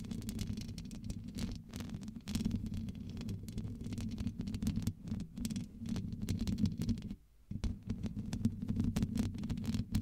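Long acrylic nails tap and scratch the black metal mesh grille on the hollow head of a large blue studio USB microphone. The result is a dense, muffled stream of low thumps and rustling scrapes with a steady low hum underneath, pausing briefly near the seven-second mark before resuming.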